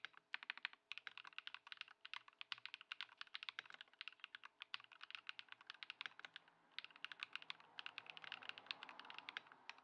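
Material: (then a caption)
Plastic. Both hands' fingertips type continuously on a compact white Ducky One 2 SF (Lumia Matcha) mechanical keyboard with plastic keycaps, resting on a wooden desk and modded with Poron foam and swapped switches. The result is a rapid, steady stream of short, bright, clacky keystrokes that stop dead with no ring and almost no low end. Toward the end the strokes blur into a denser rustle.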